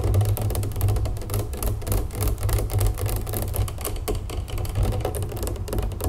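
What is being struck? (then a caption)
Large plastic drink jug. Long nails tap quickly and scratch along the sides and label of a large plastic jug full of pink raspberry lemonade standing on a wooden table. The result is a steady stream of dense, rapid taps with a dull, low thump and very little brightness.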